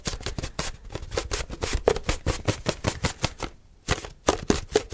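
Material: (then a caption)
Plastic. Fingertips and short nails rapidly grip, squeeze and tap a hollow, apparently empty translucent white HDPE plastic milk jug with a handle. The result is a fast, dense stream of short, dry hollow clicks and crinkling taps with a low plasticky thump. There is a brief lull near the end before the tapping resumes.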